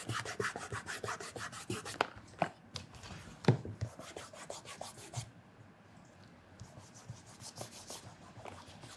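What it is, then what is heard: Leather loafer being rubbed. Bare fingertips rub the leather upper of a black leather loafer fitted with a wooden shoe tree and lying on its side on a counter. A quick run of soft, dry rubbing strokes is heard, each a short brushy burst with a low body, with a few sharper scuffs. The strokes thin out and quiet down midway, then pick up again toward the end.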